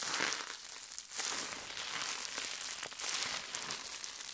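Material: Plastic.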